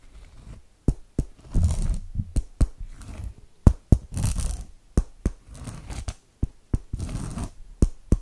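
A small blue metal penlight, held by a hand with long dark nails, taps and scratches its tip on a flat, solid cork board or cork mat. Short, dull, low knocks with almost no ring alternate with soft, rough scraping bursts across the cork surface.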